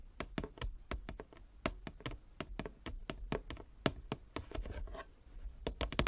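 Long fingernails tap rapidly across a large inlaid wooden chess board, producing a quick, irregular series of short, dry clicks with almost no ring. Around the middle of the clip, a brief, brighter scratching sound blends in with the taps.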